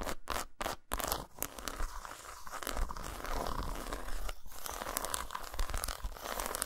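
Long nails scratch and tap a solid, segmented dark chocolate bar lying flat on a towel. The result is a dense run of dry, crinkly scratching with quick taps, with a few short pauses near the start.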